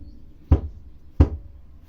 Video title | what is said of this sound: Remplacement briques réfractaires Godin 3726 | ce bruit sourd et signe d'un bon joint